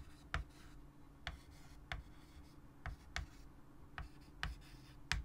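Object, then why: Chalk stick on a wood-framed chalkboard. A white chalk stick held in the fingers writes on a large, solid, flat wood-framed chalkboard. Eight short, sharp taps and scratches ring out from low to bright over a quiet, steady low hum, with faint scraping between strokes.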